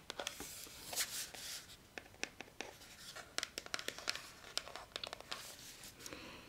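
Fingernails scratch and tap on a small white plastic Neutrogena moisturiser pump bottle held in both hands, first on its printed label side and then on the front. The result is a quiet, uneven series of crisp, high-pitched clicks and dry scratching with no lingering ring.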